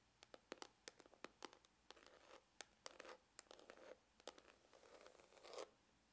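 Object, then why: Faux leather hard glasses case. Fingernails scratch along the textured side of a dark, grained faux-leather glasses case with a hollow hard shell. The result is a run of short, dry, bright scratching strokes, some crisp and separate and others dragged into longer rasps. A faint hollow tone sits around 500 Hz beneath them, and the strokes die away almost instantly.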